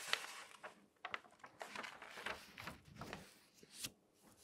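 A large open newspaper of thin newsprint lies flat on a table; a page is turned, then a flat hand with long nails rubs and slides across the pages. The result is a quiet, bright, papery rustle and crinkle with sharp little crackles and soft swishes, almost no low end, and no ringing after each sound.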